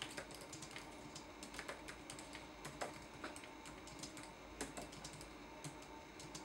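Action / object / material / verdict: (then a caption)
tap / plastic laptop keyboard / plastic / none. Fingertips type on the plastic keys of a red-backlit laptop keyboard, producing a quiet, irregular run of short, bright clicks. A soft, steady background hiss sits beneath the taps.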